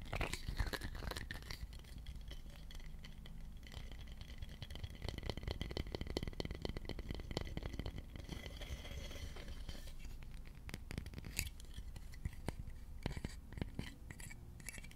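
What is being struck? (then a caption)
Wooden slotted spatula. A long, dark, solid wooden slotted spatula is held flat over a microphone and tapped and scratched with fingertips. It makes a steady run of soft, close, dull taps and rustling scratches with a heavy low-end thump, occasional brighter scratchy accents, and a faint low hum underneath throughout.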